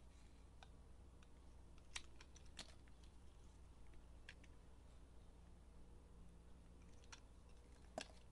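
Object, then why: Bar of soap. A utility knife blade shaves and carves thin strips off the surface of a hand-held, solid rectangular soap bar, turquoise with pink glittered layers. Soft, crisp scraping cuts and brief bright clicks are scattered over a quiet, low steady hum, with a few sharper cuts standing out.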